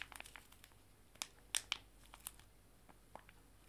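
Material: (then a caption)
Foil laminate. Two joined small, full, foil-laminated wet wipe sachets are held in both hands, crinkled and squeezed. The result is a quiet run of bright, crisp crinkles and snaps that die away almost instantly, with the sharpest pops clustered near the middle.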